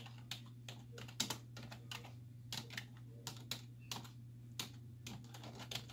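Hollow keys on a black plastic computer keyboard resting on a wooden desk are pressed by long nails and fingertips in rapid typing. Bright, clicky key taps come in quick, uneven bursts over a steady low hum.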